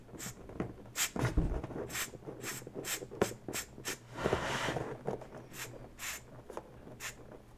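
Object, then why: Inflated latex balloon. A smaller inflated pink latex balloon, hollow and air-filled, is gripped and lightly scratched and squeezed with long natural fingernails. Short, bright, scratchy strokes repeat across the clip over a soft low rubbery rumble, with a longer hissing squeeze around the middle.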